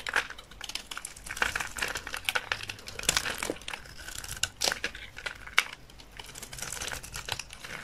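A utility knife blade shaves thin curls from a solid rectangular bar of dry olive-green soap held in the hand. The result is a dense run of dry, crinkly scraping and crackling with a bright, hissy edge and little low end. Sharper snaps poke out now and then from the steady rasp.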